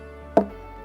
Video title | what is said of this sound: Jamaica Magazine_12.02.2021 | gave you that sound because it's hollow inside